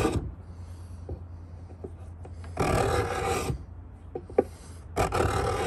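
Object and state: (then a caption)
Pine wooden box edge scraped. A steel Stanley 66 beading scraper, held in both hands, scrapes along the edge of a hollow pine box in repeated strokes. Three long, bright, rasping scrapes stand out, with quieter ticks and light rubbing between them over a steady low hum.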